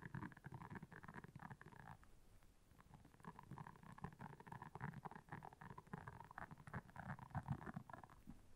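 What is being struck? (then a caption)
Silicone scrubber pad with soft bristles. Long nails scratch and tap across the soft bristles of a round, flat, blue silicone scrubber pad that is solid and lying on black fur. The result is a steady, low, rumbling rustle layered with dense, quick, dull taps and a faint mid-range scratchy band, all at a soft level.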